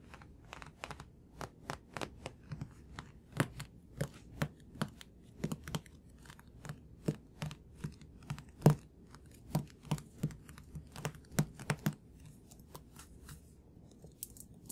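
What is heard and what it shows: Fingertips and nails tap a thick, solid paperback manga book held in the hands, striking its glossy cover and spine. Quick, dry taps and clicks come in uneven runs over a low, soft background hum. Each tap dies away almost instantly.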